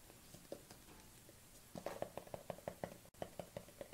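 Long painted nails tap the lid and sides of a small, round, hand-held plastic collagen jar with a white label and black lid. A few soft, scattered taps give way to a steady run of quick, hollow plastic clicks, each with a bright tone around 560 Hz and almost no ring. The run pauses briefly for a split-second silence before continuing.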